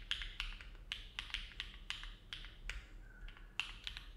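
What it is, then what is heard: Mechanical keyboard with aluminum plate, plastic keycaps. Both hands' fingertips type steadily on a compact Neo70 mechanical keyboard with an aluminum plate, foam dampening and dark GMK plastic keycaps, resting on a desk mat. About fourteen short, crisp keystrokes land at an unhurried, slightly uneven pace, each a bright clack centered near 2.7 kHz that dies away almost instantly. A faint low hum sits underneath.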